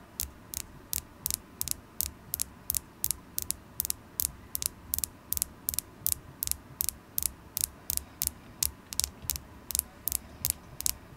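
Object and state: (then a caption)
Carnelian crystal point tapped with nails. A solid polished carnelian crystal point, held in the fingers, is tapped with long acrylic nails about 34 times in an uneven rhythm. Each tap is a sharp, bright click that dies away almost instantly, over a faint steady low hum.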